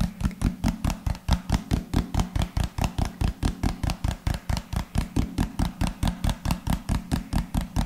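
A hand-sized, hollow white-and-pink plastic lotion bottle with a rounded pink cap is held sideways and tapped with the fingertips. It gives 37 quick, short, hollow thuds with a deep low body and a little bright click on each tap, in a steady, fast rhythm.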